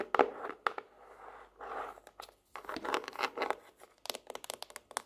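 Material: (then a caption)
Laminated cardboard. Long nails tap along the cardboard spine and edge of a laminated hardcover notebook with a tropical-leaf cover, held up on its edge. Dry, papery taps mix with brief scratchy brushing passages, ending in a quick run of sharp, bright clicks.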